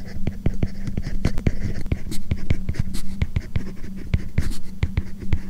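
A hard plastic stylus tip writes Chinese characters on a tablet screen covered with a matte plastic paper-like screen protector film. Dense, short scratching strokes and quick ticks follow one another in an even writing rhythm over a steady low hum.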